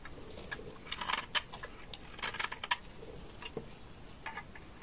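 A utility knife blade scrapes a large, solid, dry beige laundry soap bar into flakes. The clip is a quiet run of short, dry, bright scraping and crackling strokes, with sharper clicks clustered around the middle. The scrapes have very little ring and fall away almost at once.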